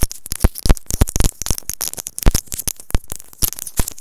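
A small white plastic earphone inline microphone, held in the fingertips, is tapped and scratched with long nails. The result is a dense run of sharp, dry taps and scrapes with heavy low-frequency thumps from handling the mic, each stopping almost at once.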